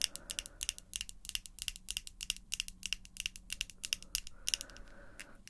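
Long pink acrylic false nails tap and click together in a rapid, uneven stream of sharp, bright clicks. Each click is dry and dies almost instantly, over a faint low background hum.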